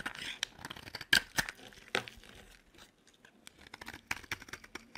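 A metal utility blade held in one hand shaves the edge of a solid cream bar of dry soap. The result is a run of crisp, bright scraping and crumbly crackles, with a few sharper, louder cuts standing out among the quieter flaking sounds and almost no low end.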